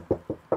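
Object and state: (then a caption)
Aluminium car body panel. Three knocks on the aluminium rear quarter body panel behind the rear wheel of a BMW iX give short, dull taps with a low-mid tone that dies away almost at once.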